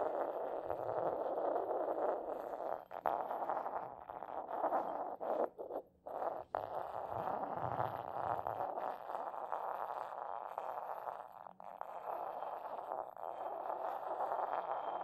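A small, hollow, white decorated porcelain mortar sits upside down on a carpet while its base is rubbed and ground with a matching porcelain pestle held in a hand with painted nails. A steady, gritty scraping fills the clip, breaking off briefly around 3, 6 and 11.5 seconds before the grinding resumes at an even level.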